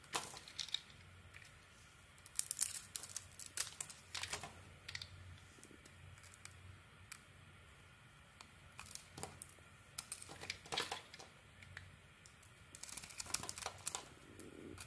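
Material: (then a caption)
Soap. A metal utility blade shaves the shiny mauve coating and flakes off a solid oval white bar of soap held in the palm. Quiet, bright, crackly scraping and cutting sounds come in uneven bursts with short pauses between strokes.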